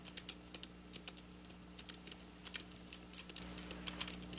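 Long black nail tips tap quickly on flat silver sequin fabric, producing around two dozen quiet, bright, crisp clicks that stop short. A steady low hum runs underneath.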